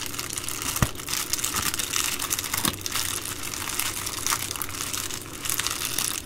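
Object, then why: Poly bubble mailer. Fingers press, rub and crinkle the bubbled plastic of an empty Amazon Prime poly bubble mailer. A steady, bright, dense crinkling fills the clip, with a few sharper snaps standing out, at about the same level throughout.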